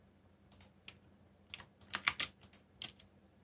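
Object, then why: Plastic mechanical keyboard. Fingertips tap the keys of a backlit black plastic mechanical keyboard while typing, producing about ten short, bright clicks in an uneven rhythm. The clicks are sharp and dry with almost no ring, and they cluster into a louder burst in the middle over a faint low background hum.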